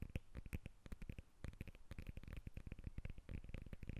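Long nails tap and scratch the peel of a whole lemon held above the recorder. Rapid, dry, low-pitched taps with almost no ring come in quick uneven bursts, mixed with faint scratching at a quiet level.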